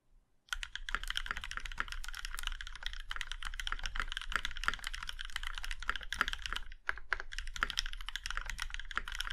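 Fingertips of both hands type steadily on a plum-red Iron 165, a compact 65% mechanical keyboard with an aluminum case and black GMK keycaps. The fast, continuous clacking has bright, crisp key strikes over a soft low thump, and each keystroke dies away almost instantly. Typing begins after a brief silence and pauses briefly before resuming.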